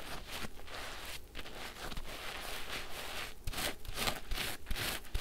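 A large pink porous synthetic foam sponge full of soapy water is squeezed and squished by both hands and fingers. It gives wet, crackling squelches with bright fizzing bubble noise and soft low thumps. The squishes repeat at an uneven pace throughout.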